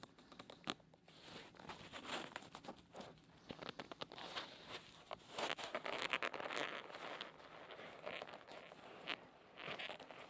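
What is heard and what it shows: A gloved fist in a black perforated leather glove kneads and rubs the white silicone ear of a binaural microphone. Close, crinkly leather creaks and rubbing swell and fade unevenly, dotted with frequent sharp, bright clicks and squeaks. The texture stays dense and hissy, with almost no low end.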